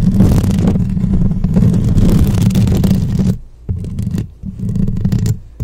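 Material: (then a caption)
Metal mesh. Long painted acrylic nails on both hands rapidly scratch and tap the round, hollow metal mesh grille of a black microphone. The result is a dense, boomy low-pitched scratching that runs continuously for about three seconds, then breaks into shorter, quieter bursts separated by brief pauses.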